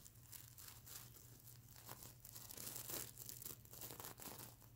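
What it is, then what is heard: Plastic sequins on a fabric pillow. Fingernails scratch and flick individual plastic sequins near the eye of a sequin-covered plush mermaid unicorn pillow. Bright, crinkly scratches and small ticks run continuously, with a steady low hum underneath.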